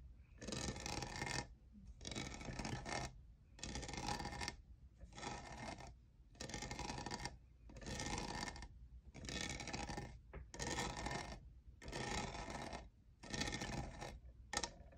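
Fingernails scratch and tap the faceted side of a tall, hollow, lavender iridescent plastic jeweled tumbler that appears empty. The result is a series of dry, rasping scratch bursts with quick clicking taps, separated by brief pauses. The sound is bright and gritty, with a low rumble underneath.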